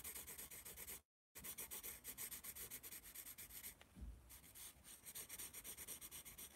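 A yellow pencil draws and shades on the page of a small paper notepad held in one palm, making rapid, rhythmic bright scratching strokes. The strokes stop briefly near the one-second mark, then resume, with a soft low bump around four seconds before the steady shading continues.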